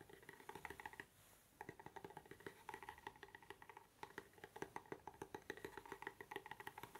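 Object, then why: Small cardboard gift box. Fingernails scratch and tap a small, hollow, dark navy cardboard gift box held near the ear and then in front of the face. Dozens of quick, soft taps and scrapes come in rapid bursts, with brief pauses near 1 and 4 seconds. Each tap is short and dry, with a hollow tone around 400 Hz.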